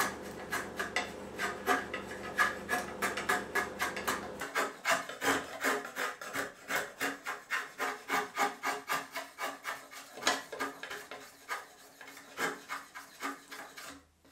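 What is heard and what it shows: A long, thin, solid beechwood shoehorn blank held in a vise is worked with a long steel rasp or file. Rapid, uneven filing strokes scrape along the wood, each a bright, raspy burst centered around 1.7 kHz, while a low steady hum runs underneath for the first four seconds. The strokes continue to the end, then stop abruptly.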